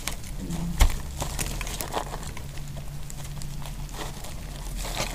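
A metal utility knife blade scrapes flakes off the edges of a small remaining piece of solid pink dry soap held in the fingers. The result is a steady run of dry, crisp scraping and crackling ticks that spread into bright highs, with one sharper snap near the start, all over a constant low hum.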